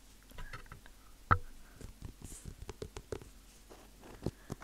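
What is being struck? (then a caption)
Leather dress shoe. Fingertips tap and scratch the leather upper and sole of a black leather dress shoe, hollow and empty, held up in one hand. Quiet, dull, low-pitched taps mix with soft scratchy rustles, with one sharper, louder tap early on and another near the end. Each tap dies away almost at once.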